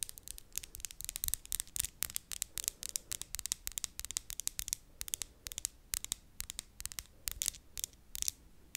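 Long, thin, hard acrylic stiletto-style fake nails with a Christmas design are tapped tip against tip with the other hand's nails in front of the mic. The result is a rapid, irregular run of sharp, bright, dry clicks that stop instantly with no ring, over a faint low background hiss.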